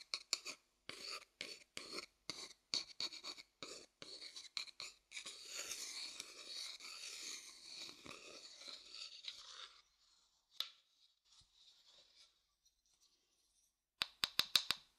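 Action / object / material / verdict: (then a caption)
scrape / wooden bowl / wood / none. A thin wooden stick rubs and scrapes a pale, hollow wooden bowl, first held upside down and then turned upright. Short, dry, bright scraping strokes come in a quick rhythm, then merge into a steady, softer rasping rub. After a near-silent pause with a few faint taps, a fast burst of sharp, high clicks follows.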